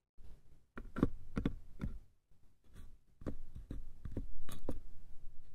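Fingertips tap the sides of a small hollow wooden box, then a hand taps its lid. The taps are short, dull, low-pitched knocks with almost no ring, coming in an uneven rhythm, and the later lid taps are louder.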